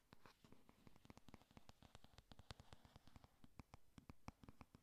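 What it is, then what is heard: Cardboard eyeshadow palette. Long nails tap rapidly on the closed cardboard cover of a flat pink 'Honey Lust' eyeshadow palette, making about 33 quiet, dry clicks with no ring. Each tap is short and sharp, with a soft low thud and bright tips over a faint scratchy rustle.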